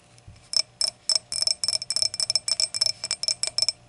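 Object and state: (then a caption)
Glass hurricane glass tapped with nails. Long acrylic nails tap the stem of a clear, empty, hollow stemmed hurricane glass lying on a towel, then tap and scratch its round glass foot. The result is an irregular run of quick, bright, high clinks, each dying away almost at once with no low body.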